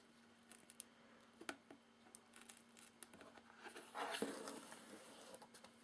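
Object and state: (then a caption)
Cardboard box, hollow. Fingertips tap and rub the flaps of a hollow, medium corrugated cardboard box whose outer flaps are open and inner taped flaps are closed. Quiet, light, irregular taps with short dry clicks come first, followed by a louder, brighter scratchy rubbing that gradually settles back into soft taps.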